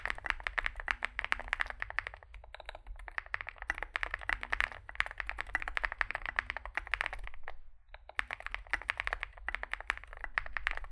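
Fingertips of both hands type continuously on a small 65% Zoom65 mechanical keyboard with a dark case, white and dark grey SA-profile plastic keycaps, and lubed Epsilon switches. Fast, dry keystrokes click and clack in dense bursts, with a bright tone centered near 1.7 kHz and brief lulls around the 2-to-3-second and 8-second marks. Each keystroke stops almost instantly over a faint low hum.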